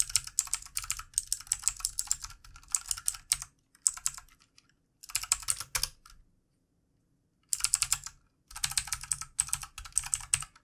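Fingertips of both hands tap the plastic keycaps of a full-size, backlit plastic mechanical keyboard in quick bursts of typing. The keystrokes are sharp, bright clicks with very short decay and little low end, separated by brief pauses and a longer silence in the middle.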